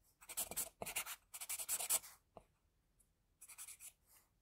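A pencil held in a metal extender draws hair spikes and a jaw line on a flat white sheet of drawing paper. Quiet, bright, scratchy strokes come in quick bursts, with a short pause and a brief tap-like mark near the middle before a final group of lighter strokes.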